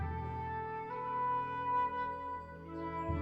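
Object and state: Nothing is struck.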